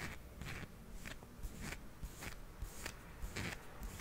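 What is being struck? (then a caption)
Small hard plastic toy figurine. Fingernails tap and scratch a small, solid, hard plastic toy hippo held in the palm. Soft clicks alternate with brief, bright scratching bursts at an uneven rhythm over a quiet, low rumble.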